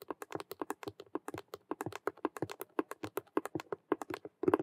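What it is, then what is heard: Faux leather cube handbag tapped with nails. Long nails tap fast on two sides of a hollow, glossy patent faux leather vinyl handbag shaped like a Rubik's cube with stitched colored patches. About 32 quick, dry clicks come in a rapid irregular stream, each with a hollow body around 400 Hz and a bright tick on top. The taps die away almost instantly, with a denser, louder burst at the end.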